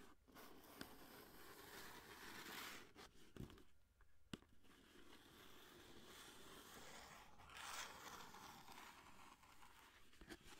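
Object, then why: Cardboard box holding a foil roll. Long nails scratch and tap a long orange cardboard aluminum foil box, with the roll still inside, held close to the mic. A steady, crinkly scraping texture runs throughout, broken by five short, sharp taps that stand out above it.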